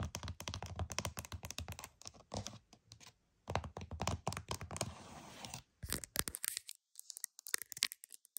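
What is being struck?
Plastic game case.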